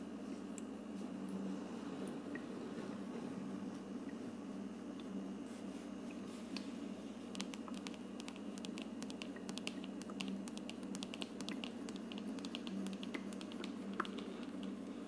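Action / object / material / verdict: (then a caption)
tap / plastic aroma diffuser dome / plastic / none. Long nails tap and scratch along the frosted plastic dome of a hollow, lit aroma diffuser with a wood-look plastic base. Soft, crisp clicks and scratchy rubbing grow busier in the second half, over a steady low hum. The taps are dry and short, with almost no ring.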